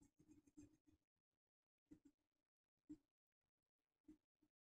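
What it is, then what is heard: Paper being colored with pencil. A colored pencil held in the fingertips colors a flat sheet of black paper with a white mandala print lying on a wooden desk. A quick cluster of soft scratching pencil strokes opens the clip, followed by separate short strokes with quiet pauses between them. The strokes have a muted, mid-low scratchy tone with faint high hiss.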